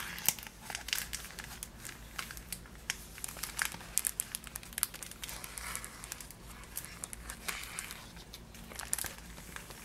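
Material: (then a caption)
Cardboard, plastic. Long nails tap and scratch the clear plastic window of a Niederegger marzipan box, a cardboard box filled with wrapped pieces, and crinkle the box. The result is a dense, bright crinkling with many sharp, quick taps and scratchy clicks over a faint steady low hum.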